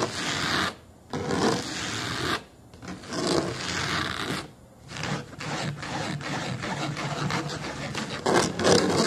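Fingernails of both hands scratch the black fabric-covered back of a foam booster car seat, which sits above a pebbled foam base. Rough, bright, broadband scratching comes in dense bursts, broken by a few brief quiet pauses and ending in a louder flurry.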